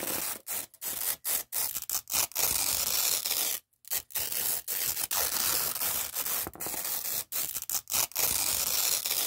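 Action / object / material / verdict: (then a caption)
scrape / nylon hook-and-loop (velcro) strip / nylon / none. Fingertips peel apart the two stuck-together layers of a long, thin, flat red nylon hook-and-loop strip lying on a dark cloth background. It makes a continuous, bright, crackling ripping noise, mostly high-pitched with almost no low end. The tearing comes in steady stretches broken by brief silent pauses.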